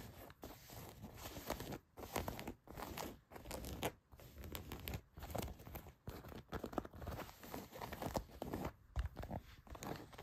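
Long nails scratch the back pocket area of a pair of blue denim jeans. The result is a continuous, rough, papery scratching in short bursts separated by brief pauses, with its energy mostly low and middle and only a little brightness on top.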